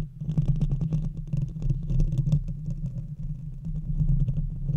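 Long red fingernails scratch and tap quickly on both sides of the hollow metal mesh grille of a silver Blue Yeti microphone. The result is a dense, continuous stream of rapid scrapes and taps heard mostly as a thick, boomy low rumble with a steady low hum, with faint brighter clicks flickering above it.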